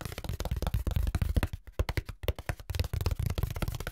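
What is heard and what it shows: Fingertips tap and scratch the ribs of a long, flat brown corrugated cardboard strip held in the hands. The result is a rapid run of short, dull, low thumps with faint papery scratching, briefly thinning into lighter, sharper taps midway before the heavier tapping resumes.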